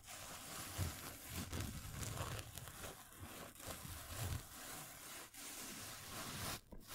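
A padded, filled black nylon fabric pencil case is held in the hands and scratched with fingernails. This produces a steady, dry scratching rustle that is bright and broadband, with soft low bumps from the handling underneath. The sound briefly drops away near the end.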